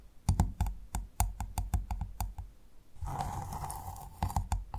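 Long nails tap and scratch the hard, ridged shell of a large, closed freshwater mussel lying flat. A quick run of sharp, dry clicks with a low thud is followed by a rougher stretch of steady scratching, then a few more taps.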